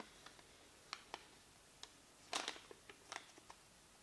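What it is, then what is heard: Paper receipt being crinkled. A small, thin white paper receipt, a light flat sheet held in both hands with painted nails, is folded and crinkled. Quiet, bright, crisp crackles and ticks come at scattered moments, with a denser burst of crinkling near the middle. There is almost no low end, and each crackle dies away quickly.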